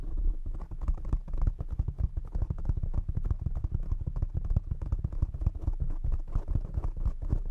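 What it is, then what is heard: Foam microphone windscreen. Fingertips tap rapidly on the sides of a black foam windscreen fitted over a condenser microphone. The result is a dense, continuous patter of soft, muffled thumps, deep and boomy with almost nothing bright. Each tap dies away almost instantly.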